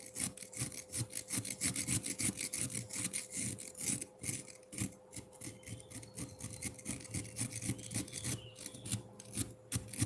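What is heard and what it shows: A metal fork scratches shavings from the lower face of a solid frozen milk ice block, making rapid, repeated gritty scraping strokes with a bright, crunchy texture over soft low thuds. A faint steady tone hums underneath, and the scraping eases slightly in the middle before picking up again.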